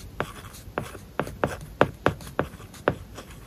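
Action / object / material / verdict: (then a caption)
scrape / plastic-tipped stylus on a film-covered glass tablet screen / plastic film / none. A plastic-tipped stylus held in the fingertips writes English words on an iPad lying flat, its glass screen covered with a matte, paper-like plastic film. Short, scratchy strokes and light taps come at an uneven pace, each a dry, brief scrape with little ring.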